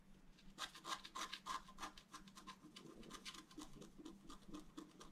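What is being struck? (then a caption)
Wax-coated scratch-art paper sheet. A wooden stylus scratches lines into a thin, solid, flat black wax-coated scratch-art card. Quick, irregular scratchy strokes with a bright, rasping edge come about three per second, louder in the first half and softer, more rubbing strokes later. A faint steady low hum runs underneath.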